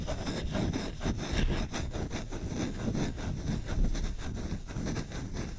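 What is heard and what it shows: Fingertips scratch fast and hard across the surface of a solid wooden spoon's bowl held right at the microphone. The result is a continuous, dense scratching and rubbing texture made of rapid strokes, with a heavy low-end rumble and only faint bright detail.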